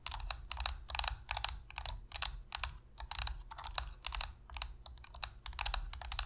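Long pink nails tap rapidly on the shell of a hollow black plastic Sony PS3 controller resting on a surface. Quick bright clicks come in uneven bursts over a steady low hum, each tap dying almost instantly.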